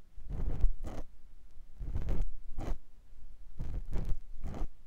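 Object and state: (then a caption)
Silicone ear of binaural microphone being scraped. A clear silicone ear pick scratches inside the ear canal of a white silicone ear mounted on a binaural microphone block. Repeated paired strokes make close, low, rubbing scratches with a soft, slightly bright top, separated by brief quiet gaps.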